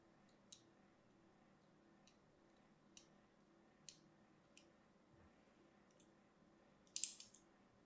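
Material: Soap.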